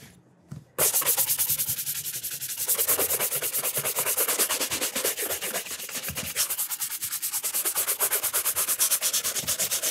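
A burgundy leather cap-toe shoe fitted with a wooden shoe tree is held in one hand and brushed briskly with a wooden-backed horsehair brush. After a brief quiet start, rapid, bright, bristly swishing strokes run steadily to the end in a fast, slightly uneven rhythm.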